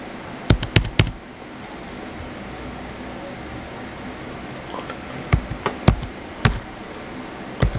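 Fingertips type lightly on the white plastic keys of a small blue plastic HP laptop, producing short, crisp clicks with a dull low thump and almost no ring. A quick burst of taps opens the clip, followed by a quiet pause of low steady hiss, then a second scattered run of keystrokes.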